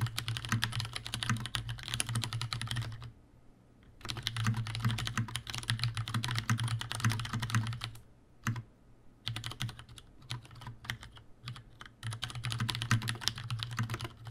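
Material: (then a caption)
Plastic. Fingertips of both hands type continuously on a Leopold FC750R tenkeyless mechanical keyboard with Cherry brown switches, a plastic case and plastic keycaps, and a hollow housing. Rapid, dense key clacks come in bursts with a strong low thump and bright clicky tops. Short pauses fall near 3 to 4 seconds and around 8 to 9 seconds.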